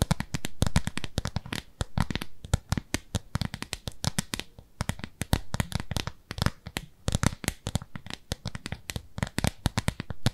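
Long nails scratch and tap across a thin, translucent, frosted plastic round lid about the size of a palm, held in both hands. The result is a rapid, uneven stream of short, dry clicks and scratchy taps that stay bright across the range, with a soft low thump under each touch and no ring after any of them.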